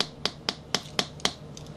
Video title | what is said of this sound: "Ask Frankie" Friday (6-11-10) | this deck is almost a year old and I've been trashing it every day listen to the dullness